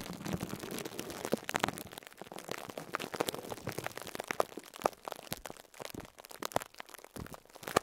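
A small foam sponge wrapped in plastic cling film is squeezed by fingertips. The film gives off dense, irregular crinkles and crackles with sharp bright snaps, some louder pops standing out near the end.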